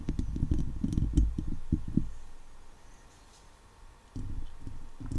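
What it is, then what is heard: Metal mesh microphone grille being scratched. Long leopard-print nails scratch across the hollow steel wire-mesh head of a microphone, and fingers rub along its side. This produces a dense run of deep, boomy scraping and thumping for about two seconds. It fades to a faint hush, then the rough low scratching returns near the end.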